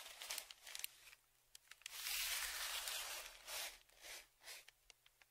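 A dark flat stick is dragged and scraped across the crinkled surface of a large brown kraft paper Amazon padded mailer lying flat. Quick crackly ticks open the clip, then a long, bright, rough scrape builds into shorter repeated swipes. Sharp little crinkle clicks fall between the strokes.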